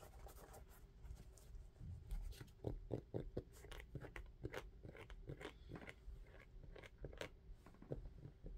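Fingertips tap and scratch the textured rubber outsole of a dark shoe held sole-up. Quick, dry, muffled taps and light scratching come in an irregular rapid series, mostly low in tone with almost no ring after each hit.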